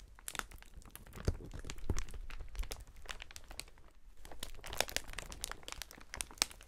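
A clear, air-filled polyethylene air cushion packaging sheet is held in gloved hands, then bunched and kneaded. Dense, bright plastic crinkling and crunching fills the clip, with sharp crackles and a few soft low thumps as the air pillows are squeezed.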